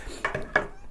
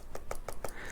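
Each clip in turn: First: Three quick plastic taps with a papery mid-high click around 1.7 kHz; the adapter case sounds hollow. Second: Four short, dry taps around 560 Hz; the plastic adapter brick sounds solid and well packed, not hollow.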